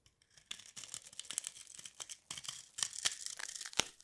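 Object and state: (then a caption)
Dry soap bar being scraped. A hand-sized solid turquoise bar of dry soap with starch, held in one hand over soap shavings, is scraped and crushed with a small blade tip until its surface crumbles. The result is a quick, irregular run of dry, crisp crackling and tearing bursts, bright and thin with almost no low end, each one stopping sharply without ring.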